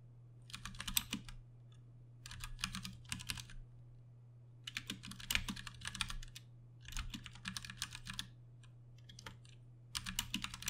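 Two hands tap with their fingertips on a Ducky One 2 Mini, a compact 60% RGB-backlit mechanical keyboard with plastic keycaps and Cherry MX Brown switches, resting on a desk. Five bursts of quick, bright, dry key clacks are separated by short pauses. A steady low hum runs underneath throughout.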